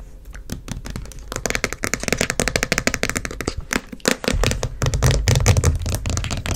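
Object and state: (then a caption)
Plastic jar tapped and scratched. A large plastic The Body Shop shea body butter tub with a dark lid, closed, is held and then set on a magazine while long fingernails rapidly tap and scratch its lid and sides. Quick, irregular, dry clicks and bright scratchy bursts come in a dense stream. A fuller low rumble and louder tapping take over in the second half.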